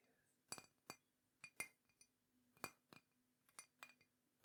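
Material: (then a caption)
Ceramic. A teal and green ceramic mug is tapped ten times at an uneven pace, each tap giving a short, bright clink with a ringing tone around 2.4 kHz that dies away almost at once. The taps vary in strength, and the mug sounds clear and lovely.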